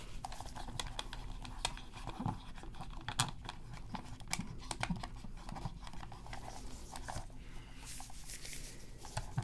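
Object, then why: Hard plastic game controller. Gloved fingers hold a black PS3 controller with a hollow hard plastic shell, lying on black fabric, while a cotton swab scrubs and scratches around the face buttons. Quick, dry scratching and rubbing mixes with short, sharp clicky ticks against a steady low background hum. Each tick dies away almost at once.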